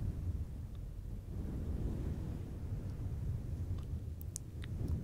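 A fluffy synthetic faux fur windscreen on a silver microphone is scratched by the fingertips and nails of both hands. The result is a steady, muffled low rumble with deep, dense rustling. A few faint, brief, bright ticks surface near the end.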